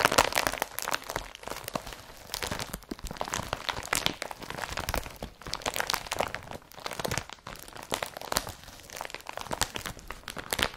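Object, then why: Woven polypropylene carrier bag. Blue IKEA BRATTBY woven polypropylene carrier bag, empty, is pressed and rubbed with the fingers. Dense crinkling and crunching with sharp crackles runs throughout, bright and papery with little low end.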